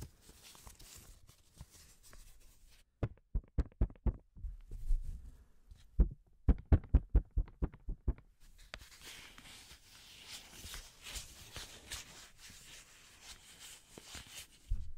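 A single thin, flat yellow paper banknote is crumpled, unfolded and rubbed by black-gloved hands. A soft crinkle gives way to a run of sharp, dull snaps and crackles, then a steady bright rustling hiss as the note is rubbed.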